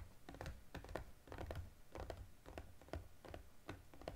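Fingertips and nails tap quickly on a small cardboard EOS gift box with a plastic window as it is held and turned. The steady run of soft, hollow taps is mostly low and thuddy, with brief crisp clicks on top. Each tap dies away almost at once.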